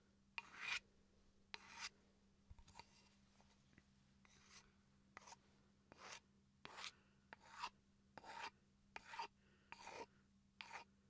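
A small solid wooden chopping board, held upright, is scratched along the grain with a wooden pencil. About fourteen short, irregularly spaced strokes produce a dry, bright, raspy scraping. A faint steady low hum sits underneath.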